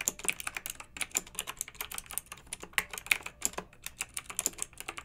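Long nails and fingertips of both hands type steadily on a pink backlit plastic mechanical keyboard with round plastic keycaps. The result is a rapid, uneven stream of sharp, bright clicks and clacks that die away almost instantly, with very little low end. A few keystrokes stand out louder than the rest.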